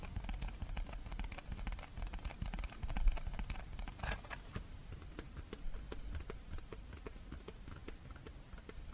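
A small, thin, empty flower-shaped paper plate with a red pattern and a gold rim is held and tapped on its front and back with long red-painted fingernails. A quiet, rapid stream of short, dry clicks and soft scratchy taps plays over a low rumble, with a slightly louder cluster of taps around the third second.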